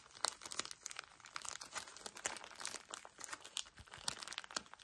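A pocket tissue pack in crinkly plastic is squeezed and rubbed by fingertips and nails up close. It makes a dense run of sharp, bright crinkles and crackles with almost no low end. Each snap dies out instantly, and the sound stays quiet overall.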